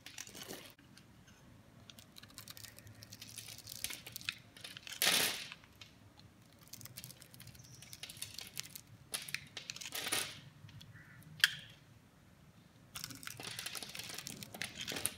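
A metal knife blade slices thin flakes off a hand-sized, solid oval green bar of soap held in the palm, its surface pre-scored into a grid. Soft, crisp scraping and crackling cuts run throughout, bright and thin with little low end. A few louder swipes stand out, and a denser stretch of scraping comes near the end.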